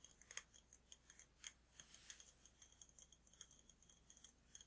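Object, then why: Glass candle jar. Fingertips and nails tap on a large glass jar candle filled with red wax and topped with a glass lid, held in the hand. About thirty quiet, quick taps land in an uneven stream, each a bright, glassy click with a high ringing edge that dies away almost instantly. There is little low end beneath them.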